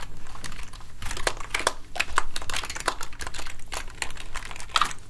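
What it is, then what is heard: Plastic keyboard. A full-size plastic gaming keyboard sits on a desk and is then lifted, while fingertips press and tap its keys and a soft cleaning gel is pressed onto it. The result is a steady run of quick, dry clicks and taps with short crinkly, sticky squelches mixed in, over a low background rumble.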